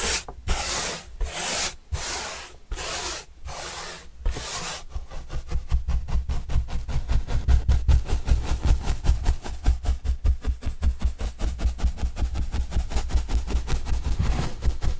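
A yellow-bristle paintbrush brushes the surface of a large, flat, hollow white corrugated cardboard pizza box with green edges, held upright. It begins with several long, bright, hissing sweeps, then shifts to rapid, short, scratchy strokes with a dull, low, hollow thump under each.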